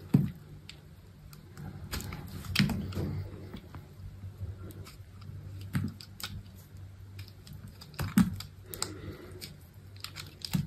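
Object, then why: Bar of soap scraped with a blade. A metal box-cutter blade scrapes and carves flakes off a solid, hand-sized bar of soap, red outside and green inside, held in a hand with long pink nails over a fabric surface where the shavings fall. Soft, irregular crunching scrapes and sharp little clicks sound close and dull, mostly low with a few bright cutting edges, each stroke stopping short with no ring.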